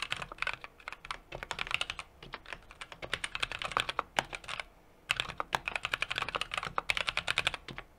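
A small 60% mechanical keyboard with an aluminum case, brass plate and plastic keycaps is typed on rapidly with the fingertips of both hands. The crisp, bright key taps are short and dry, coming in a fast, uneven stream. They stop briefly just before the five-second mark, then resume.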